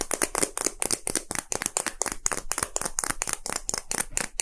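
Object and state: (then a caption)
Hollow plastic capsule. A small, hollow, red and white plastic gacha capsule shaped like a Poke Ball is held and tapped quickly and loosely with fingertips and short nails. About 22 dry, hollow clicks and taps come in a fast, uneven run. They are bright and crisp, each dying away at once with no ring.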